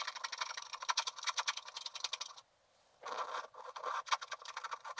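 A wooden stylus scratches across a flat sheet of black wax-coated scratch art paper, revealing color under the black layer. Quick, dry, bright scratching strokes with no low end run for over two seconds, stop for about half a second of near silence, then resume to the end.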